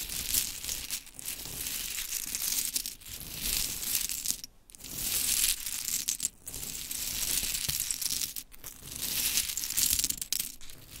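Long chrome stiletto nails scratch and rake through a pile of small pink wooden mini clothespins resting on glitter fabric. The result is bright, dense clattering and scratchy rustling in irregular waves, with brief quiet pauses between passes.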